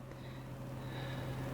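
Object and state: Nothing is struck.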